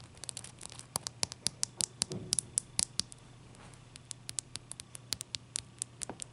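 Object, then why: Ice block. Long dark nails on both hands tap and scratch a large, clear, solid ice block resting on a towel. About thirty sharp, bright clicks sound in an uneven pattern, with a brief scratching rustle near the two-second mark. The taps stop dead with no ring, over a faint steady low hum.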